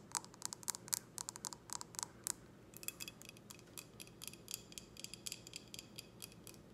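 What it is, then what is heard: Empty glass tumbler. Long red nails tap a clear, empty, short drinking glass with a logo, held in both hands, making quick, quiet, bright clicks. The first taps carry a faint glassy ring that fades almost instantly; later taps turn into sharper, higher, drier ticks in an irregular patter.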